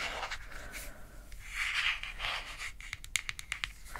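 Long grey acrylic nails scratch and tap on the top and side of a white plastic screw lid on a small, round, pink translucent plastic jar of Clean it Zero cleansing balm, likely full and held in one hand. Soft, bright, hissing scratches swell and fade through the first part of the clip. A run of sharp, dry clicking taps follows near the end.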